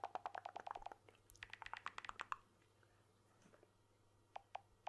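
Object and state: Smartphone glass back tapped.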